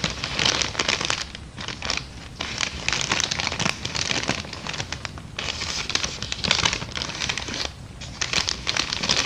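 An empty small brown kraft paper bag is crumpled, rubbed and scratched by fingers with long dark nails. The result is dense, bright crinkling and crackling that runs almost continuously, dipping briefly into quieter gaps before picking up again.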